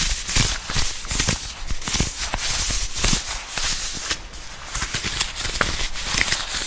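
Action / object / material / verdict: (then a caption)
tap / leather jacket / leather / none. Fingertips and long nails tap and scratch a green leather jacket on the shoulder, sleeve and chest. Dense, crisp taps and scrapes with bright, hissy texture sit over a steady low rumble, keeping a fairly even level throughout.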